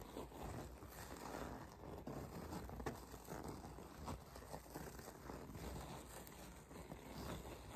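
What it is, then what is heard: Faux leather zip pouch. Long acrylic nails scratch and tap across the surface of a flat, medium-sized white faux leather zip pouch with an embossed logo, held up and apparently empty. The result is a quiet, continuous soft scratching with a few sharper taps standing out, and the sound sits mostly low and muffled, with little bright content.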